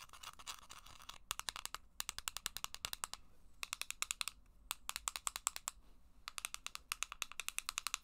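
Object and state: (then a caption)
Plastic game cartridge. Long black acrylic nails tap a small, hollow green plastic Game Boy game cartridge held in one hand. Dozens of sharp, dry clicks come in quick bursts and runs with short pauses between, bright and high-pitched with almost no ring.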